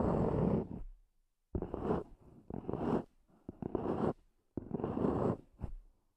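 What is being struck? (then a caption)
Small EVA hard-shell earphone case. Long nails tap and scratch the lid of a small, hollow, black zippered EVA hard-shell earphone case, recorded close-up. Several short bursts of dry, raspy scratching, each starting with a sharp tap, are separated by brief silences and carry a hollow, low-mid body.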